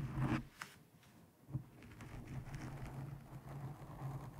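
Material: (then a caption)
Foam. Long nails and fingertips scratch and grip a black foam windscreen over a microphone. It makes a muffled, low-heavy rustling and scraping with a steady low hum, broken by a couple of sharper scratchy bursts early on. The scratching then settles into a continuous soft crackle.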